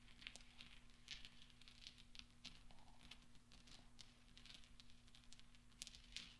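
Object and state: Steel balls clinking.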